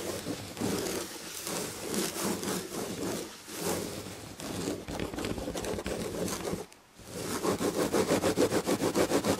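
Long red-painted nails on both hands rapidly scratch the damask chenille upholstery on the back of a fabric chair. A dense, bright, rustling scrape continues for several seconds, breaks into a brief near-silence, then resumes as a quick, even rhythm of scratching strokes.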